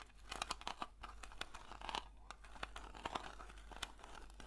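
A round blue metal Nivea cream tin is scratched with long nails on its lid and along its side rim. The result is a dense run of short, dry, crinkly scrapes and ticks, each with a bright edge and almost no ring.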